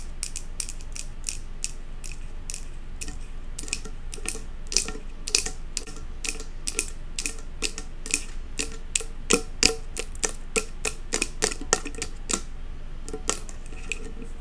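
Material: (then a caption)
Glass. Long acrylic nails tap quickly on the glass front of a large glass jar candle filled with solid wax, then on its metal lid. The result is a steady stream of short, sharp, bright clicks with almost no ring, over a faint low background hum.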